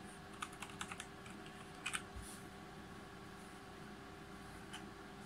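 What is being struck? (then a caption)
Mechanical keyboard, plastic keycaps on aluminum plate. Fingertips type on a G513 Carbon GX Brown full-size RGB mechanical keyboard, with plastic keycaps on a brushed aluminum plate. Eight quiet, short, clicky keystrokes sound over a steady low hum: a quick burst in the first second, a close pair near two seconds, and a final tap near the end.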